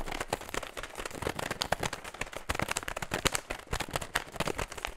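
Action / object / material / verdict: scrape / metallized plastic foil snack bag / foil plastic / none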